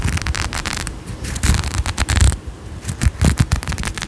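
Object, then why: Faceted glass perfume bottle. Long nails scratch a faceted glass perfume bottle with a gold cap and pink tassel, held close to the mic. The result is a dense run of crackly, uneven scrapes with bright, sharp bursts over a heavy, muffled low rumble.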